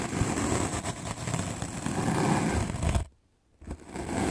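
A white, solid, rectangular melamine foam magic eraser block is held by the fingertips while a medium paint brush with black bristles is swept quickly back and forth across its top. The result is a dense, continuous, scratchy brushing rustle with a low, rumbling body. It stops briefly for about half a second, then starts up again.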